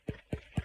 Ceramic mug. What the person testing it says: this sound would change if this mug are full